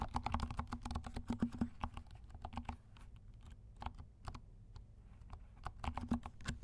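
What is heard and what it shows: Fingertips of both hands type on a compact 68-key mechanical keyboard with dark plastic keycaps and silent switches. Rapid, soft, muffled keystrokes with a low thuddy body come in dense bursts, thin out to scattered taps in the middle, then pick up again at the end.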